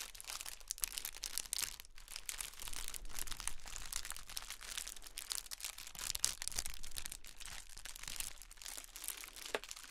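A pair of blue and gold metallic foil pom poms is held in both hands and shaken and crinkled. The result is a steady, dense rustle of bright, high crinkling with quick crackly bursts throughout.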